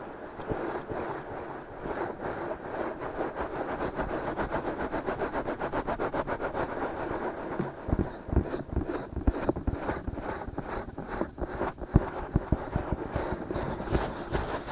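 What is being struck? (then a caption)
Silicone ears of a binaural microphone. Fingertips of both hands scratch and rub around the rims of the soft silicone ear shapes on a black binaural microphone. The result is a steady, dense, muffled scratching and rubbing that sits mostly in the low and middle range, with little high sound. It grows more uneven after about eight seconds, with sharper scrapes and soft knocks standing out.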